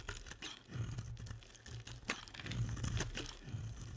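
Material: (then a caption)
Soap. A box-cutter blade scrapes curly shavings off a solid, translucent, hand-sized green bar of soap held in the hand. Dry, crisp crunching and scraping strokes come in quick bursts with bright, crackly edges over a steady low hum.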